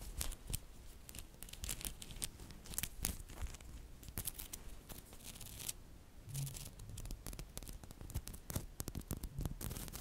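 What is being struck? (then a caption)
Block of small coated neodymium magnet balls. A flat rectangular block of many small, solid, green-coated neodymium magnetic balls is held in the hands while fingertips and long nails press, rub and click the spheres to shape it. Dense, rapid, bright clicks and scratchy rubbing run continuously throughout, with brief louder snaps and low handling thumps underneath.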